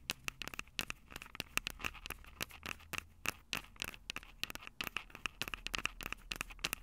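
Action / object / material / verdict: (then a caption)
tap / metal microphone capsules of a handheld recorder / metal / none. Long purple acrylic nails tap and scratch the two metal microphone capsules of a small black plastic Tascam DR-05 handheld recorder held upright. The result is a rapid, irregular stream of sharp, dry clicks and scratchy scrapes that die away almost instantly, bright and thin with a ringing tone near 2.7 kHz and very little low end.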